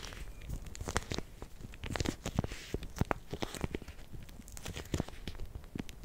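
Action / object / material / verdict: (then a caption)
shake / plastic zip bag filled with gel water beads / plastic, gel / none. A clear, hand-sized plastic zip bag partly filled with many small gel water beads is held in both hands with long painted nails, then squeezed and shaken. The plastic crinkles and rustles steadily while the beads shift with soft, squishy clicks and dull low thumps. Bright crackling spikes rise out of the texture throughout.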